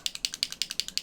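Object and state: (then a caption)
Paint bottle with a mixing ball rattling inside. A small bottle of amethyst paint stain is shaken well before use, and the little mixing ball inside rattles against the bottle. Eleven quick, bright, high-pitched clicks come in a steady rhythm over about a second, each dying away almost at once.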